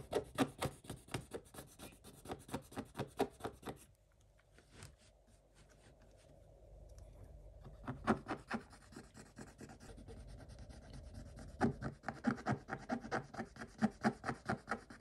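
Fingers and a wooden stick scratch the coating off a scratch-off coated paper page, making quick, rhythmic, dry scratching strokes. The strokes pause for a few seconds, leaving only faint rubbing and a low steady hum. Then the brisk scratching starts again and grows louder toward the end.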